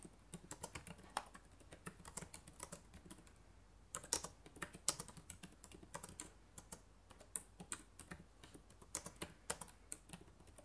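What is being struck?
Plastic laptop keyboard keys.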